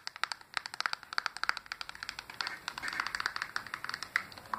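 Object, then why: Plastic handheld game console casing. Fingertips and painted nails quickly tap the casing and screen area of a silver plastic Game Boy Advance SP, a small, hollow clamshell handheld console held open in the hand. The result is a rapid, uneven stream of short, dry plastic clicks and ticks centred around 1.4 kHz, with bright edges and no low end. Each tap dies away almost instantly, and the taps crowd closer together toward the middle of the run.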